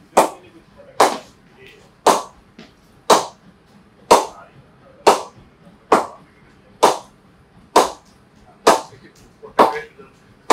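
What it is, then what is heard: Willow cricket bat with good ping. An old cricket ball is struck against an SM18 willow cricket bat in a ping test, at the bottom, top and middle of the blade. Twelve sharp, bright cracks ring out at a steady pace, each decaying quickly. The bat gives a good ping and performs really well.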